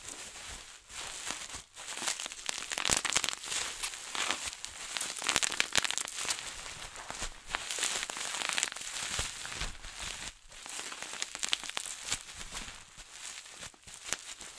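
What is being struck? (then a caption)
Plastic bubble wrap. Clear plastic bubble wrap bunched into a ball is squeezed and crushed by both hands, popping its bubbles. Dense, bright crackling and sharp pops run continuously, with a steady crinkle of plastic beneath the louder snaps.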